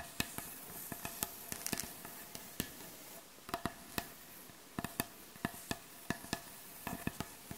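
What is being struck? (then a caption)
Wooden butcher block board. Long acrylic nails tap and scratch across the solid, light wooden surface of a butcher block board. Around nineteen sharp, dry taps stand out over a steady, hissy scratching texture, each click bright and dying away almost at once.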